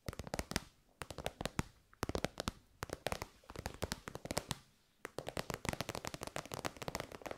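A pink, glossy, metallic-finish fabric pouch, elongated, soft and hollow, is held in the hands and tapped and scratched with long almond-shaped nails. Rapid, crisp clicking taps come in quick bursts separated by brief pauses, with a soft crinkling scratch between them.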